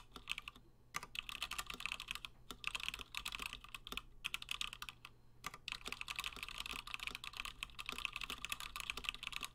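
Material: Plastic.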